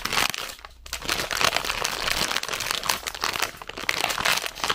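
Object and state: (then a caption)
Plastic sweets bag. A full red plastic zefir bag is held up and crinkled and squeezed with fingertips and long nails. It gives a steady, dense, bright crinkling and crackling with almost no low end. The sound rises and falls in loudness without pause.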